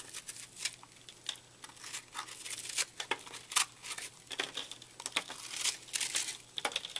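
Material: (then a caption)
Soap. A fist-sized, porous purple soap block that was puffed up in a microwave, solid but brittle and foamy inside, is held in one hand while a red-handled utility knife blade cuts, scrapes and crumbles it. Quick, bright crunches and crackles come in irregular bursts over a soft, steady low hum. Each crunch stops almost instantly as the airy soap breaks apart.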